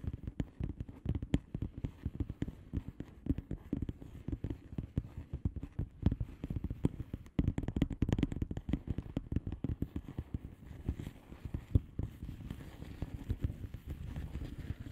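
Long polished nails on both hands tap and scratch across the plastic bubble wrap surface of a flat padded envelope. The result is a steady stream of rapid, soft, dull clicks and crackles, heavy in the low end with little brightness. It continues evenly for the whole clip, with only a brief dip just past the midpoint.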